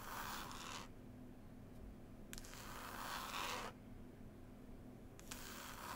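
Long pointed nails scratch and tap the green woven cloth cover of a solid, closed hardback book. Bursts of bright, raspy scratching alternate with quieter pauses, and sharp taps mark the start of some passes.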